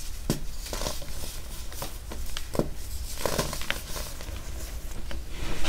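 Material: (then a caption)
Baking soda. A solid purple pressed baking soda chunk is held over a heap of purple baking soda powder while both hands break it and crumble it with their fingers, then squeeze the powder. Short, dry crunches and crackles pop out over a steady low, muffled rumble, with soft gritty crumbling between the breaks.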